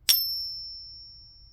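A counterfeit Morgan dollar coin is ping tested once, giving a sharp strike followed by a thin, high-pitched ring that fades slowly over the clip. The tone is much higher than a real silver Morgan dollar's, marking the coin as fake.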